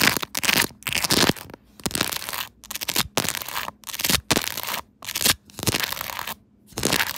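Long acrylic nails from both hands tap and scratch a clear plastic smartphone case covered with rows of small raised resin cartoon charms, with the phone held on a tripod. Bursts of crisp, bright scratching and clicking crackle alternate with brief near-silent pauses, each burst dying away almost instantly.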